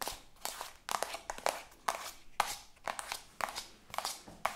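Long acrylic nails tap and scratch quickly along a soft, partly filled white plastic cosmetic tube. The result is a rapid run of sharp, dry clicks with a hollow knock near 820 Hz. Bright, crinkly scraping fills the gaps between the clicks.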